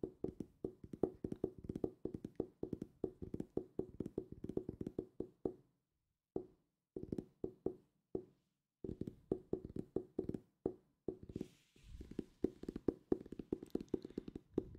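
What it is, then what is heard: Hardcover book. Fingertips tap rapidly on a solid purple hardcover book held close to the mic, making dry, muted knocks with a hollow low-mid tone and almost no ring. The taps come in quick bursts separated by short pauses. Toward the end, a faint brighter brushing texture is layered under them.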